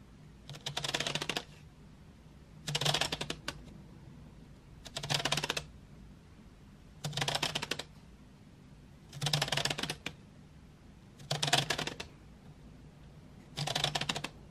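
Long nails tap and scratch along painted wooden graphite pencils lying in an open metal tin tray. Seven separate bursts of rapid, dry clicking and scraping come through, bright and crisp with a faint low hum underneath, and each stops quickly with little ring.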